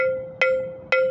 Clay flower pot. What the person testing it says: जो टन की आवाज़ आ रही है इसका मतलब गमला आपका बिल्कुल सही है, मजबूत है।